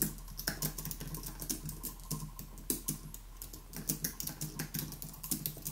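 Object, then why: Low-profile keyboard with plastic keys on an aluminium base. Both hands type rapidly with their fingertips on the plastic keys of a white aluminium Apple Magic Keyboard resting on a wooden desk. The result is a fast, uneven stream of short, bright clicks and taps that die away almost at once, over a steady low hum.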